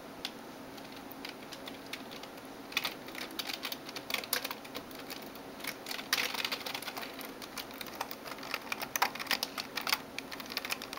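A backlit plastic Razer Tron gaming keyboard sits on a desk while long nails and fingertips type and tap its keys. The result is a quiet, steady stream of short, bright clicks and clacks with denser bursts and a faint low hum beneath.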